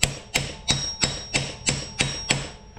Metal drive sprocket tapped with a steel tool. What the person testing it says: lightly tap it on good and you can hear when it kind of hits like it's all the way on